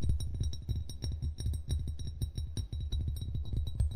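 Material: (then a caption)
Glass. A hollow brown glass wine bottle lies with its base toward the recorder while both hands tap rapidly on its glass body with fingertips and nails. The result is a dense, fast patter of short, deep hollow thumps around 70 Hz, each ringing only briefly, with faint bright clicks from the nails above.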